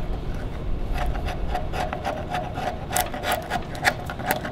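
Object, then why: Wooden log scraped with a steel chisel. Gloved hands scrape a steel chisel along the bare surface of a large, solid debarked wooden log. Repeated short, rasping scrape strokes ride over a steady low rumble, each carrying a faint mid-range squeal and bright hiss, with the last few strokes sharper and louder.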